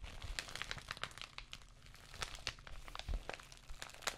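An empty white padded plastic bubble mailer envelope is scratched and tapped by long nails across its textured surface. The result is a dense stream of short, dry crinkling and crackling ticks that flash up into bright highs over a low rumbling undertone, with no ring after each contact.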